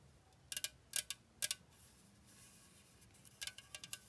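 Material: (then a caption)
Aluminum. A pink Dr Pepper Strawberries & Cream 12 fl oz (355 ml) aluminum can, hollow, apparently sealed and full, held against a green background, is tapped and scratched with long painted acrylic nails. Bright, crisp clicks come in quick pairs, with a soft scratching hiss between them and a short run of lighter taps at the end. Each tap is high and dies away almost instantly.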